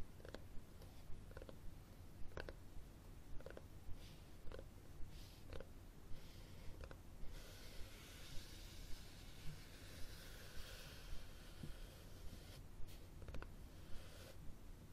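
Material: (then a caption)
Cloth, board. Fingertips and nails tap and scratch the cloth cover and spine of a red cloth hardcover book held horizontally close by. About thirteen soft, short taps land at a steady pace over a constant low rumble, and a brighter, hissy scratching fills the middle of the clip.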